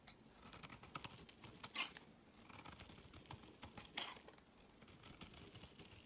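A metal utility-knife blade scrapes and shaves the edges of a solid, palm-sized white bar of soap held in the hand, carving it into flakes. The sound is a quiet, dry patter of many short, bright scrapes and crisp ticks with little low end, each dying away almost at once.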